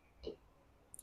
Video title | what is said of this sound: Graphite Shaft Adapter Installation - Pro Club Builder Walkthrough | That's when we know that it's solid in here.